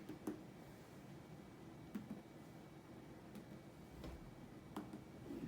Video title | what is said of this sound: J Brown Head to Toe Assessment | I am listening for any dull sounds, which would mean that there was an underlying mass or something underneath